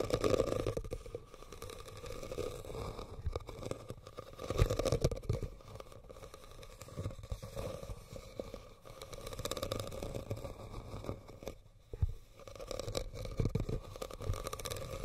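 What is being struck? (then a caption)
Woven rattan basket. Fingernails scratch across the woven top and sides of a hollow red rattan basket turned upside down. The result is a steady, uneven, dry scraping texture with a dull, low-heavy body and a few brief louder scratches.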